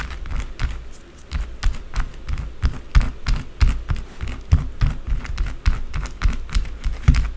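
Long blue acrylic nails scratch fast and hard at a small solid white bar of soap sitting in a ring of shavings. The result is a quick, uneven run of dull, low, thumping scrapes, each with a brief bright scratchy crackle on top.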